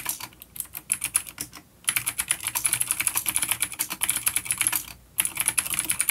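Fingertips of both hands type on a full-size, dark plastic vintage mechanical keyboard with clicky blue switches and grey keycaps, resting on a wooden desk. Rapid, bright, crisp clicks stream in bursts, with short pauses of near-silence between them. Each keystroke is sharp and dies away almost instantly.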